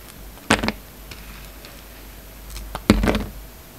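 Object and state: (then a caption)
Soap bar being shaved. A hand-held solid rectangular bar of soap, with a red outer layer and a black-and-white striped core, is shaved and scraped with the steel blade of a yellow utility knife. Two short, crisp scraping bursts are heard, with a small tick just before the second, each fading quickly into quiet.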